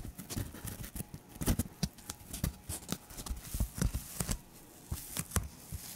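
Fingertips and nails scratch and tap the surface of a thin, hand-sized white protective polyethylene foam sheet. Quick, irregular dry taps carry a soft low thump and a bright, crinkly edge that dies away almost instantly. Faint scratching fills the gaps between them at a low, steady level.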